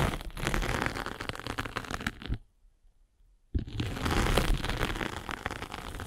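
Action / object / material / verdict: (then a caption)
scrape / foam sanding sponge block with abrasive face / abrasive foam / none. A derma roller with tiny metal spikes is rolled across the grey abrasive face of a solid, palm-sized rectangular sanding sponge block with blue foam beneath. It produces a dense, crackling, scratchy rolling with a low rumble underneath. The rolling stops for about a second of near silence, then resumes just as thick and steady.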